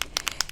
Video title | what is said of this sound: 4 Sweet Kitty Cards Using Collection Orchids & Cats by Stamperia | you can hear that that ball inside that is um mixing up the particles that are inside